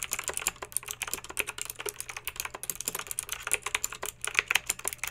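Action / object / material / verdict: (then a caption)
tap / plastic mechanical keyboard with round keycaps / plastic / none. Long pink acrylic nails type quickly on a plastic mechanical keyboard with backlit round plastic keycaps. About 34 short, bright clicky taps come in a steady, uneven rhythm, each dying away almost instantly, with a faint low hum underneath.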